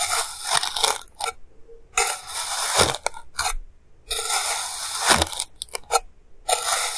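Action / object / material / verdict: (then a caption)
scrape / pile of kinetic sand cut with a plastic knife / kinetic sand / none. A clear plastic knife cuts thin slices from a solid, hand-sized pile of purple kinetic sand, cutting and scraping through it. Bright, gritty, crunchy scraping comes in irregular bursts separated by brief near-silent pauses.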